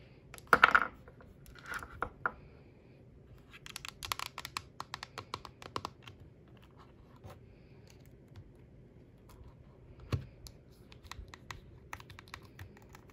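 Long acrylic nails and fingertips tap on the glass or plastic touchscreen and plastic body of a small, hollow-bodied yellow plastic Nintendo Switch Lite lying on a desk. The result is quiet, sharp, clicky taps with almost no ring, arriving in irregular bursts. A louder cluster comes near the start and another around ten seconds, with faint scratchy touches in between.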